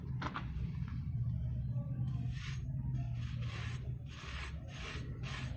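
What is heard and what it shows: A metal knife blade shaves and scrapes the surface of a hand-sized, solid block of pressed dry red brick dust held over a basin of loose brick dust, with no water involved. Repeated dry, rasping scrape strokes come in short, bright bursts over a steady low hum, and powder falls off the block.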